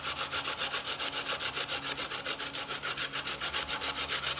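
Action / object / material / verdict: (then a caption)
scrape / coconut meat on a steel box grater / coconut, steel / none. A small, solid piece of fresh coconut meat with its brown skin is rubbed by the fingertips against a steel box grater resting on a bamboo board. Quick, steady back-and-forth grating strokes, about three to four per second, make a bright, dry rasping scratch with almost no low end.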